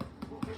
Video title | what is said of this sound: Penny’s Kitchen- “Lassy “ Soda Bread_Full HD 1080p_MEDIUM_FR30.mp4 | it sounds hollow and when it sounds hollow on the bottom your soda bread is ready